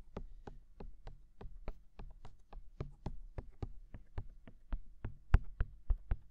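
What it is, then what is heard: Silicone dummy ears of a binaural microphone. Fingertips tap both silicone dummy ears of a binaural microphone in a quick, slightly uneven run of soft, dull taps. Each tap is a short, low-heavy thump with a faint bright click on top that dies away almost at once, over a quiet, low background rumble.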